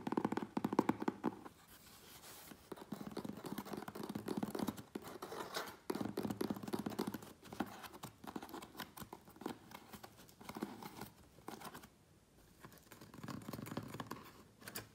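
Fingernails scratch and tap quickly on the sides of a medium, closed, hollow corrugated cardboard Priority Mail box, then on its taped top edge. The result is dry, papery scratching and rapid, muffled pattering in bursts, with brief quieter pauses between them. Each tap dies away almost instantly.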